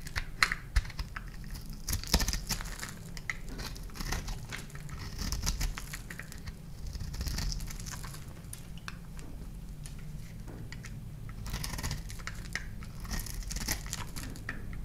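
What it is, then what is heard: Dry, crunchy soap bar. A thumb and fingertips scratch and break crunchy blue flakes off a palm-sized oval bar of dry, solid blue soap with a dark decorated top layer, held in one hand over a bed of loose soap shavings. Dense, dry crunching and crackling scratches run throughout with brief bright snaps, over a low rumbling undertone.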